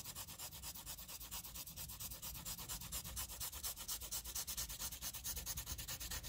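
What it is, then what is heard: Pencil scribbling on graph paper. A wooden graphite pencil scribbles rapidly back and forth over a shaded area of a flat sheet of graph paper. It makes a steady scratching rub of about 53 quick, bright strokes, with a soft low rumble underneath.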